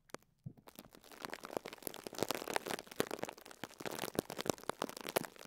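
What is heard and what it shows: Fingertips with short nails press and squeeze the top of a small pink and yellow foam sponge block tightly wrapped in clear plastic cling film, resting on a cloth, crinkling the wrap. Quiet, dense crackling and sharp, bright little pops and clicks follow one another rapidly after a brief silent start. Each snap dies away almost instantly.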